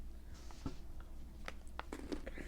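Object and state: Chocolate-covered peanut butter filled pretzel with rattling filling.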